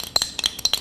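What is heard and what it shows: A metal paint can with a steel bolt hidden inside is shaken, giving six quick, bright metallic clinks and rattles with almost no low end and very short ring. Despite the bolt, it sounds like an ordinary can of paint.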